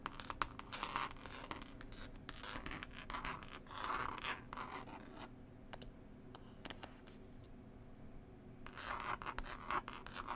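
Long pointed white acrylic nails scratch and tap across a book-style Passenger "Whispers" CD case, a flat, rigid hardcover of green linen-textured cloth over board with a pasted illustrated paper label, lying on a table. Dry, bright scratching comes in bursts mixed with short crisp taps, falling quieter in the middle before a final round of scratching returns.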